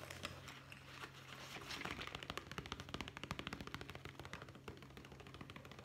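Fingertips tap quickly on a small, soft, hollow brown leather zippered pouch held in both hands, after a brief stretch of soft rustling. The taps come as a rapid, uneven run of short, dry knocks with bright clicky edges, over a steady low hum throughout.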